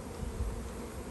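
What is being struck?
Nothing is struck.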